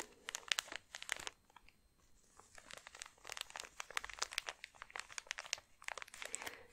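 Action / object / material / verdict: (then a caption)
scrape / thin plastic bag holding soft socks / thin plastic / none. Long nails scratch and crinkle a thin clear plastic bag holding soft thermal socks with a cardboard label. The sound is a dense run of quiet, bright, crisp crackles, with bursts that ease off briefly around the middle before building again.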